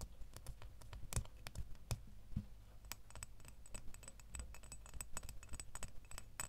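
A small solid metal door key, held by the bow, is tapped and scratched along its blade with fingernails. The result is a quick, uneven run of short, dry, bright clicks and light scraping, each dying away almost instantly, over a steady low hum.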